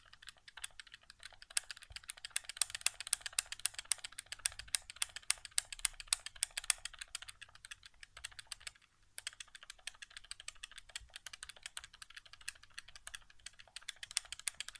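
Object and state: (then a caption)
Plastic game controller. Fingertips rapidly tap the face buttons of a hollow white plastic PS4 game controller resting on carpet. A dense stream of sharp, bright plastic clicks with almost no low end and no ring continues, with a brief pause near the nine-second mark before the tapping resumes.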